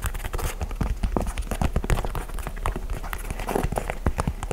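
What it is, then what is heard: Leather sneaker. Fingertips tap rapidly on the upper and sole of an empty white and grey leather high-top basketball sneaker with a speckled rubber midsole, held in both hands. The result is a dense, steady run of soft, dull, low thuds that stop instantly with no ring, and almost no high-end brightness.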